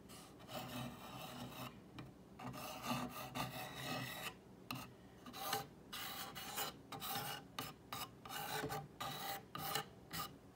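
Long painted fingernails trace and scratch along the painted white lettering and mason jar outline of a solid, medium-sized flat wall sign made of dark brown wooden planks, and across the grooves between the planks. The result is a series of dry, raspy scratching strokes with a bright hiss, separated by short quiet pauses.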